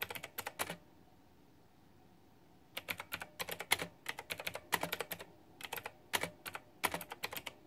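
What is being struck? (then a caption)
Plastic mechanical keyboard with round keycaps. Fingertips with long painted nails type on a white, backlit, full-size plastic retro mechanical keyboard with round typewriter-style plastic keycaps and a pink flower theme, resting on a fluffy mat. Quick bursts of sharp, bright clicky keystrokes are heard, with a short pause of near silence before the rapid typing resumes and continues to the end.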